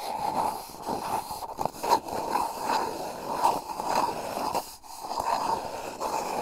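Fingertips and short nails scratch and rub the outside of a hollow, empty brown cardboard toilet-paper roll held upright around a mini microphone, with its cable running out the top. The result is a steady, close scratchy rubbing with a hollow, resonant tone near 900 Hz. It swells and fades in uneven strokes with brief breaks.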